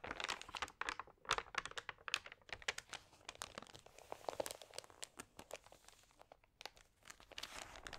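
Fingertips press, rub and turn the wrinkled, lightly wet pages of an open glossy paper magazine, making a dense run of sharp, bright crinkles and crackles. The bursts come quickly with little low end, and a few quieter gaps fall between page handlings.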